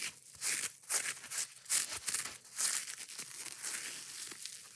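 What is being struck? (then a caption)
Foam kitchen sponge with scouring pad. Long nails scratch and rub fast and aggressively across the surface of a yellow porous foam kitchen sponge with a green scouring pad. The result is irregular bursts of dry, bright, crinkly scratching with almost no low end, each stroke cutting off quickly.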